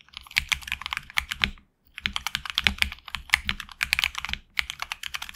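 Fingertips type continuously on a HyperX Alloy Origins Core tenkeyless mechanical keyboard with HX Red switches, PBT plastic keycaps on an aluminum plate, and a hollow case with a tape mod. Rapid, bright, crisp clacks run in quick bursts with a brief pause near the two-second mark, each keystroke dying away almost instantly with little low-end thump.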